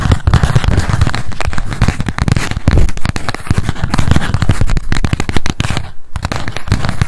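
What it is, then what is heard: Paper spiral notebook. A small pink m.memo spiral notebook with a cardboard cover and a solid paper stack is held in the hands and tapped quickly with long acrylic nails. The result is a dense, continuous run of short, dry, low thuds with a faint crackle. A brief pause comes near the six-second mark.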